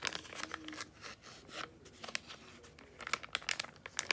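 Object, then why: Laminated foil-plastic face mask sachet. A small, flat yellow Freeman clay mask sachet made of laminated foil-plastic, which appears filled, is held in both hands and squeezed and crinkled with the fingertips and long painted nails. The result is a bright, dry crinkling with soft rustling stretches and a run of sharp, quick crackles toward the end, with almost no low end.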